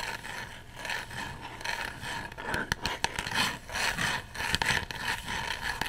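A small, hand-sized coffin-shaped box of light unfinished wood with a printed design, seemingly hollow, is held up close and scratched and rubbed with fingernails. Dry, bright scraping and rasping strokes come in uneven waves, broken by a few sharp, quick clicks and taps.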